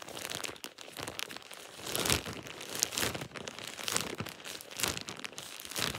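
A thin plastic shower cap is scrunched and crinkled by hand. Dense, bright crinkling and rustling runs throughout, with louder crackling surges every second or so and little low end.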